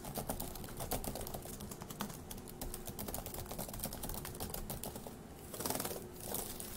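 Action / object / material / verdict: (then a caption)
tap / plastic laptop keyboard / plastic / none. Both hands type rapidly with their fingertips on a dark laptop keyboard with plastic keys, resting on a wooden desk. The result is a dense, continuous run of quick, light plastic clicks and clatter, with a couple of louder, brighter swells near the end.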